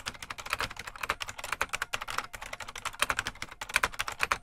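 Fingertips of both hands type continuously on a full-size beige plastic IBM Model M mechanical keyboard with a hollow case. The result is a rapid, steady stream of crisp, bright clacks with almost no low end, each keystroke snapping off quickly with little ring.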